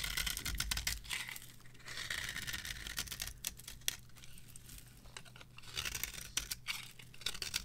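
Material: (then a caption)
Soap. A metal knife scrapes shavings off a solid, varnished, dry yellow soap bar with purple edges, held on the palm. Repeated dry, crisp scraping and crackling strokes come in short bursts with bright, high-pitched detail and almost no ring. Quieter pauses fall between the strokes.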